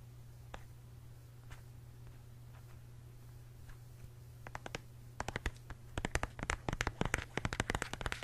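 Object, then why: Plastic gel squeeze tube. A hand-sized, hollow pink plastic tube of peach gel is tapped and scratched with fingertips and short nails on its printed front, close to the microphone. Faint, sparse scratches over a steady low hum give way after about four seconds to quick, crisp, bright taps that grow denser and louder toward the end.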